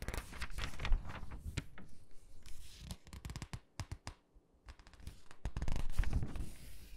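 Fingertips squeeze the edges of an open glossy paper catalog, rub across its pages and turn them. Dry, crinkly rustling comes with quick, sharp paper snaps that reach into bright highs. A brief near-silent pause falls midway before denser rustling returns.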